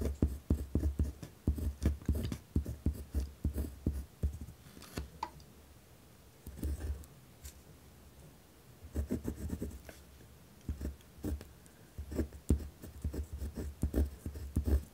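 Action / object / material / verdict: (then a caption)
scrape / pen on paper notepad / paper / none. A pen tip scratches across a white lined paper pad on a wooden desk while writing. Short, rough scratching strokes come in dense bursts, with low thumps from the pad and a few quiet pauses between runs of writing.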